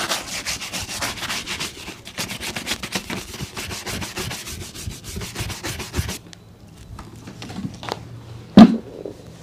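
A brown leather boot is brushed with a bristle shoe brush during polishing, giving a steady run of rapid, bright, scratchy back-and-forth strokes for about six seconds. The brushing then stops, leaving quieter soft rubbing as fingers work over the leather, with one sharp louder tap near the end.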